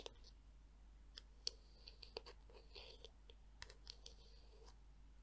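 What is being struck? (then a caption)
Plastic detangler brush. Long nails tap and click on the smooth back and edge of a palm-sized black hollow plastic Tangle Teezer detangler brush. The result is a quiet, irregular series of short, dry clicks with a bright, high ring and faint scratchy rustles between them over a steady low hum.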